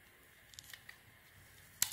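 A small metal blade shaves and carves the sparkly dark glitter coating off a hand-held, hand-sized solid bar of soap embossed with a "fogal" logo, exposing the white soap underneath. A few faint, crisp high ticks and scratches sound over a quiet hiss, then a sudden loud, bright scraping cut closes the clip.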